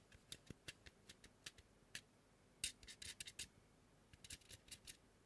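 Fingertips with short nails tap and scratch the face and cheek of a large white polystyrene foam mannequin head. About twenty quiet, dry, bright ticks and scrapes come in irregular clusters, each dying away almost at once over a faint hiss.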